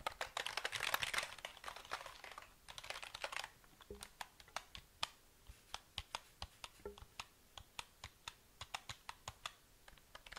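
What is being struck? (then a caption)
Plastic mechanical keyboard. A black plastic KLIM mechanical keyboard with a grey frame and hollow housing is held in both hands and then tilted while fingertips tap its keys. A dense flurry of bright plastic clacks in the first few seconds gives way to sparser, separate short clicks. Each tap is crisp and dies away almost instantly.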